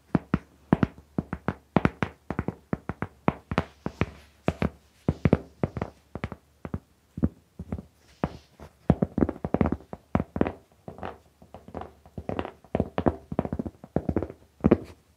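A large, flat, solid round cork trivet is held in front of a microphone and tapped and scratched with long painted fingernails and fingertips. A steady stream of short, dry, muffled taps with almost no ring follows, mixed with soft scratchy brushing between them.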